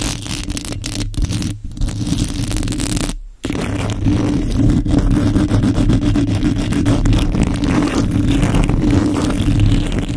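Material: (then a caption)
Metal mesh. Long nails on both hands scratch the hollow metal mesh grille of a microphone, making a dense, rapid scratching and scraping with a heavy low rumble. A near-silent break falls around the third second before the scratching resumes steadily.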